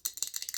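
A glass decanter filled with individually wrapped, whiskey-flavored fudge, meant as a gift, is tapped or shaken. It gives a quick run of short, bright, clicky rattles that are almost entirely high-pitched, with no low end and almost no ring after each tap.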